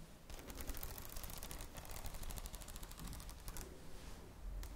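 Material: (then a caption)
Plastic. Long nails tap rapidly on the plastic cover of a red spiral notebook. The result is a quick run of crisp, bright clicks over a steady low rumble, with each tap dying away almost instantly.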